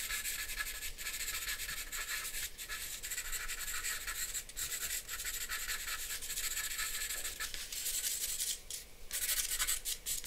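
A charcoal pencil makes short scratching strokes across a flat sheet of drawing paper. The result is a steady, bright, dry rasp that runs almost continuously, with brief dips between strokes and very little low end.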